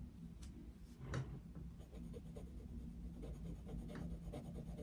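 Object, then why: Coloured pencil on a paper page. The tip of a coloured pencil, held in the fingers, scratches back and forth across the thin paper page of an open colouring book lying flat on a desk. Steady, soft, low rasping strokes repeat throughout, with one slightly louder, brighter stroke early on.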